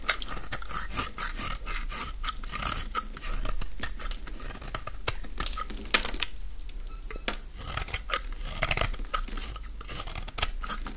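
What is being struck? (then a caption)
Bar of soap. A solid, dry rectangular green bar of soap is held in the hands while its edge is shaved with a utility-knife blade. Rapid, dry, crunchy scrapes with bright crackle run throughout as crumbly shavings come away.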